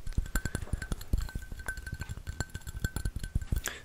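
A hollow white ceramic coffee mug with a pink pattern, held in both hands, is tapped rapidly with fingertips and nails. The taps are short, dull knocks, mostly low in pitch, with a faint, thin ringing tone running through. Each tap dies away almost instantly.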